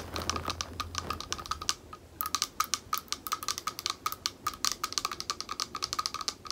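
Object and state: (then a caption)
Glass bowl tapped with nails. A small, thick, clear glass bowl, hollow and empty, is held in both hands while long nails tap rapidly on its base. The result is a dense stream of short, bright clicks with a faint glassy ring near 1.2 kHz. A low hum is heard early on, and a brief pause near two seconds separates the taps into more distinct bursts.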